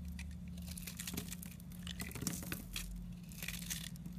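A utility knife blade scrapes crumbly pieces off a solid yellow soap bar with an airy, porous inside, held in a hand with painted nails. The sound is a continuous run of dry, bright crackling and crumbling with quick crisp bursts over a steady low hum.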